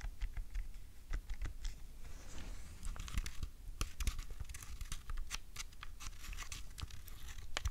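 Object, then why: Plastic handheld game console. A small, hollow, white plastic PlayStation Portable is tapped with long nails, its buttons are clicked and its disc door is snapped open. The result is a rapid run of sharp, dry, bright clicks and taps that die away almost instantly, with a brief scratchy rustle partway through over a steady low hum.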